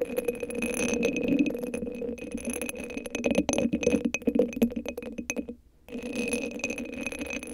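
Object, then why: Rhinestone-covered hollow cylinder sleeve. Long acrylic nails scratch and tap a hand-sized hollow cylinder covered in purple rhinestones that sits on top of a microphone. The result is a dense, uneven stream of bright clicks and glassy rattling over a steady low tone, with a brief silence before the scratching resumes.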